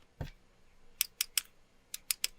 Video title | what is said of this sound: Samsung Galaxy A37 – All Tutorials, Setup, Tips & Tricks | I can hear it even when tapping on it. This is just straight-up plastic.